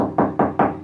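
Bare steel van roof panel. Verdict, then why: Resonant. Three knocks on the bare steel roof panel of a Peugeot Boxer van that has no sound deadening. Each knock gives a loud, resonant, hollow ring centred in the low mids that decays quickly before the next. The untreated panel sounds loud compared with a sound-deadened one.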